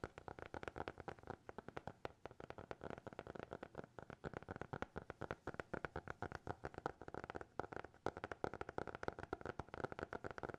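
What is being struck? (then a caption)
Hardcover notebook. A small black hardcover notebook, closed and held in both hands, is tapped and scratched with fingertips and nails. The result is a quiet, rapid, continuous stream of short, dry taps with almost no ring. Faint scratchy texture sits underneath, along with a steady mid-range tonal hum.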